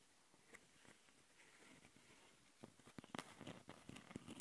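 Long nails scratch the metal mesh grilles of the microphone capsules and the top of a black plastic Tascam handheld recorder. Faint, soft scraping and light taps give way after about two and a half seconds to louder, gritty, bright scratching bursts.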